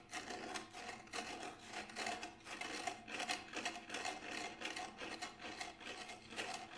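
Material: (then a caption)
Synthetic. Fingertips and nails scratch and rub along the side of a Remo Buffalo frame drum, a large hollow drum with a grey textured synthetic shell. The result is a continuous series of bright, raspy scraping strokes that swell and fade, with a faint hollow tone near 720 Hz ringing through them and almost no low end.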